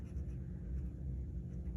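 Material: Nothing is struck.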